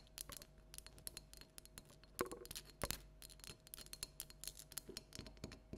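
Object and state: Hollow plastic jack-o'-lantern.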